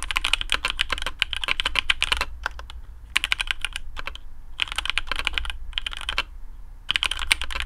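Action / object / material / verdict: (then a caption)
tap / mechanical keyboard with PBT plastic keycaps / PBT plastic / none. Fingertips of both hands type in quick bursts on a black custom AARU mechanical keyboard with TTC Speed Silver switches, PBT plastic keycaps on a carbon fibre plate and a hollow case. Short, bright clacks come in dense runs separated by brief pauses over a steady low hum.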